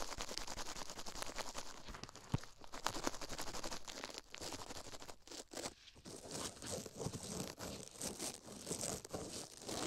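A toothbrush scratches rapidly across a silicone ear microphone at close range. The result is a dense, continuous stream of bristly, crinkling scrapes with a bright hiss, broken by a few short pauses around the middle before the fast brushing resumes.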